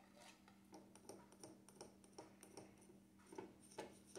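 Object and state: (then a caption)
Plastic jar lid tapped. Fingertips tap the black plastic lid of a small cream jar, then the hand grips the jar's rim. The result is a loose, irregular series of quiet, short, dry plastic clicks with bright edges and very little ring, over a faint steady low hum.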